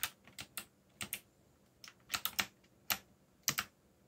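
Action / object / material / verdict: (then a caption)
tap / plastic mechanical keyboard keys / plastic / none. Bare fingertips with short nails, one finger bandaged, type on a backlit black mechanical computer keyboard with plastic keycaps labeled in Korean and English and a yellow backlight. About twelve quick, bright, clicky key taps land in uneven clusters, each dying away almost instantly into quiet.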